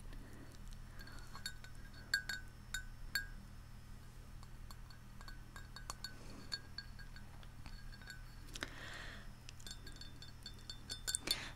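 Long nails tap the rim and outer wall of a large white ceramic Central Perk mug with a yellow glazed interior, hollow and holding some tea, held up close. Bright, short clinks and ticks sound in scattered clusters, each dying away almost at once over a steady low hum.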